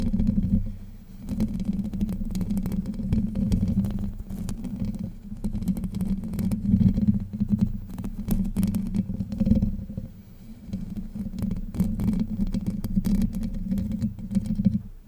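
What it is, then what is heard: Metal mesh microphone grille being scratched. Long white nails scratch the top and side of the hollow domed steel mesh grille on a Blue Yeti microphone. The result is a continuous, dense, muffled scratching rumble with most of its energy low and a steady hum-like tone near 190 Hz. Its loudness swells and dips over the clip, with almost nothing in the high range.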